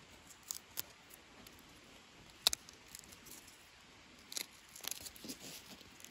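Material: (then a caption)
Wood. A small pointed tool and fingers scrape and peel dead bark off a long, solid, natural wooden branch used as a walking stick, held in hand outdoors. Faint, crisp, high-pitched crackles and scratches come in short bursts, with one sharp snap near the middle and a busier cluster of scraping toward the end, over a quiet background.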